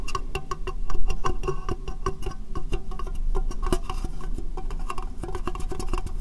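Long dark-painted nails tap rapidly on an empty, hollow, rectangular clear plastic case held over the microphone. The taps are quick, dry plastic clicks with a hollow, boxy resonance and a heavy low thump. Each click dies away almost at once, and together they form a steady, fast patter.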